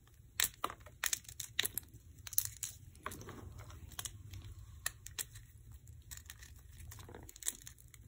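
Fingertips and thumbs pinch and rub small lumps of dry white gym chalk (magnesium carbonate) powder in a black bowl, crushing the chunks into powder. The sound is a quiet, bright crinkling crunch made of many short, sharp clicks and gritty rubbing over a faint low hum.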